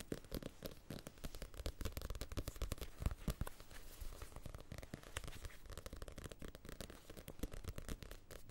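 Fingertips and nails tap and scratch the glossy card cover of a small paperback novel, Casino Royale, a solid stack of paper held up close to the mic, first on the front cover and then the back. The result is a dense, uneven run of quick, dry taps and crackly scratches with a soft, thumpy low body and very short decay, swelling louder in places before settling into steady tapping.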